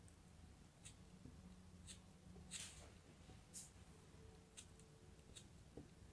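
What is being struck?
Block of kinetic sand cut by a knife.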